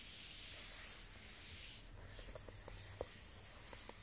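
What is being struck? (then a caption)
Small rigid cardboard box. Fingertips and a palm slowly rub across the matte surface of a small, rigid, closed black cardboard iPhone 12 Pro box. The result is a soft, steady, bright hiss over a faint low hum, with a few light, short ticks in the second half.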